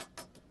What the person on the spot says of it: a little tinny when you hit it with your fingernail, but it's a piece of metal, so it's going to